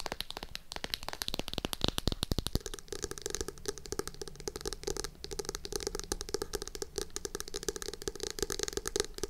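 Long acrylic nails rapidly tap the cover and edge of a navy hardcover notebook held upright. The result is a dense stream of short, dry, bright clicks with almost no ring, over a steady low background.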